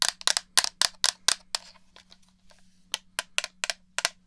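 Long nails tap the shell of a black hollow plastic PS4-style gamepad near a dummy head's ear, giving 13 sharp, bright clicks that die away almost instantly. A quieter stretch of faint scratchy rustling sits between the first and second groups of taps, over a low steady hum.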